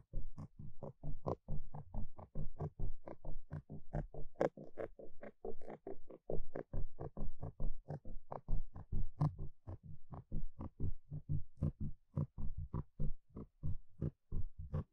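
A small round black foam microphone windscreen, held in fingers, is poked and scratched with a thin plastic stick. About 45 close, muffled, low thumping scratches come in a quick, uneven rhythm, each ending abruptly with almost no ring.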